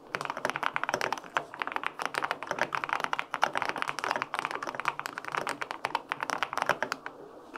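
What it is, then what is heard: Aluminum mechanical keyboard with plastic keycaps. A white-pink full-aluminum 65% mechanical keyboard with linear switches and plastic keycaps is typed on continuously with both hands' fingertips. Dense, rapid keystrokes give short, crisp clacks with a mid-range body, little low end and almost no ring. The typing thins toward the end.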